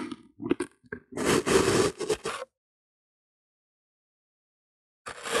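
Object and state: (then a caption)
Kinetic sand being cut. A hand-held clear plastic bottle with a broken rim repeatedly cuts through a flat, solid slab of pink kinetic sand resting on white paper. Short crunchy, gritty cuts come in a quick, uneven run, with a longer, denser scraping crunch in the middle. This is followed by about two and a half seconds of silence before another crunch begins.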